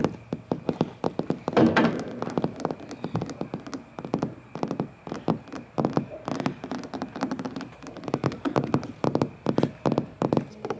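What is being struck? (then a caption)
Molded plastic playground slide. Fingertips and nails tap and knock on the hollow shell of a large, scratched, red molded plastic playground slide. A quick, uneven stream of hollow taps and thunks, with a low resonant body and short ring, continues throughout, with a louder cluster near the two-second mark.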